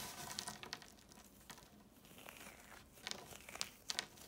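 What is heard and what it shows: Bare fingers dig into a pile of small, dry blue, green and red chalk flakes on a marble surface, squeezing and crumbling the pieces and letting them fall back onto the pile. The result is a soft, gritty crinkling and crunching with scattered bright, sharp clicks, the sharpest near the end.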